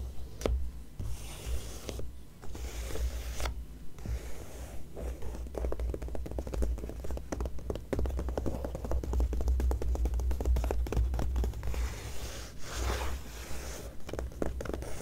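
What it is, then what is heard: Glossy paper magazine. Long nails scratch and tap across the glossy paper pages of an open magazine, showing a contents page and an ad. The result is a dense run of quick, bright scratches and clicks over a low steady hum.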